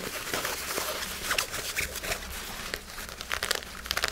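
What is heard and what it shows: Fingers scratch and crumple a pair of black nylon synthetic fabric shorts. A dense, bright crinkling rustle runs throughout, with sharper scratchy peaks near the start and end and a faint low hum underneath.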